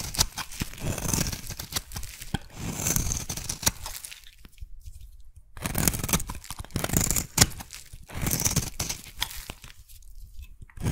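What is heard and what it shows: A metal blade scrapes thin layers off a hand-sized, solid pink and white striped soap bar. Bursts of dry, crackling, tearing-like scraping alternate with quieter pauses, combining a low rough body with bright crisp crackle.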